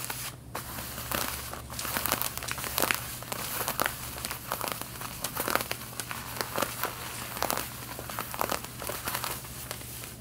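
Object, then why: Denim jeans. Long red-painted nails scratch the back pockets of worn light blue denim jeans, making a dense run of dry, crinkly rasps with bright, airy highs. The strokes come in quick, uneven bursts over a faint steady low hum.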